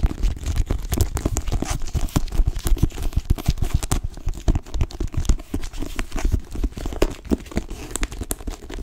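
Long nails tap and scratch on the cover of a blue cloth-bound hardcover book. The result is a dense, continuous run of quick, dry taps mixed with soft scratching, heavy in low thuds, with each tap dying away almost instantly.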